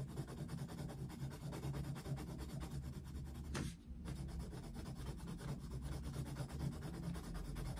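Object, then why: Coloured pencil on a paper colouring book. A dark wooden coloured pencil vigorously shades a picture of Mickey Mouse in an open paper colouring book on a desk. Steady, low, dull rubbing and scratching on the paper continues throughout, with a brief break near the middle marked by a short, brighter scrape.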